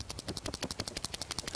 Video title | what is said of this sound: HOW TO FISH FOR FALL LARGEMOUTH BASS- New episode! | has a little bit of a rattles in there